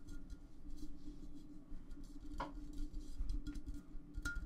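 A large, clear, empty glass vase is lifted and tilted in the hands while fingertips tap and rub its surface. Soft, low rubbing and handling sounds run throughout, with a few brief, bright glassy clinks standing out.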